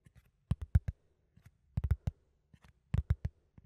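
A flat brown cardboard sheet, held in both hands close to the microphone, is scratched with fingertips and nails. Short, dry scratching bursts come in irregular clusters, with low, soft body and brief bright edges that stop almost instantly.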